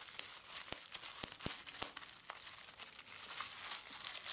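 Clear plastic bubble wrap is held in both hands while red-nailed fingers rapidly squeeze and pop the bubbles. Sharp, short snapping pops cut through a steady bright crinkling hiss, with almost no low end.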